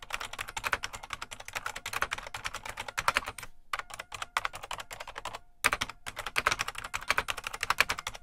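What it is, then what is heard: Plastic mechanical keyboard being typed on. Fingertips of both hands type continuously on the keys of a full-size beige plastic IBM Model M mechanical keyboard with a hollow case. It gives a rapid, steady stream of sharp, bright clicks with very short decay, broken by brief pauses at about 3.5 and 5.5 seconds.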